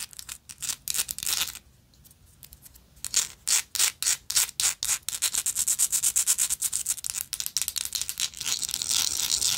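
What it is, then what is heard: Textured metal lighter. Long nails scratch along the textured surface of a small, hollow, gold-tone metal lighter with a slotted end. Quick, bright rasping strokes come in bursts, pause briefly, then resume faster and denser. The sound ends in a near-continuous high, hissy scrape.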